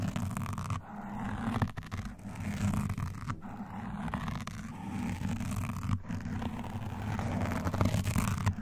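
Both hands in lace gloves scratch fast and alternately at a soft, porous black foam windscreen on a standing microphone, using black claw-like nail rings. The result is a dense, continuous low scratching rumble with a few brief dropouts and almost no high-end content.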